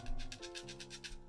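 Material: Glass.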